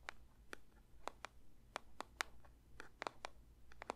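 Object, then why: Paper box. A paper box is lightly tapped with the fingertips for ASMR, giving about a dozen quiet, dry, irregularly spaced taps. Each tap is a crisp, bright click that dies away instantly, heard over a faint low hum.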